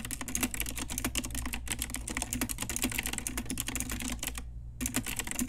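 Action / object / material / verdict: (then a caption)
tap / plastic mechanical keyboard / plastic / none. Long nails and fingertips type quickly on a pink Ajazz retro typewriter-style mechanical keyboard with round plastic keycaps. The result is a dense run of sharp, bright plastic clicks over a steady low hum. The typing pauses briefly near the end, then resumes.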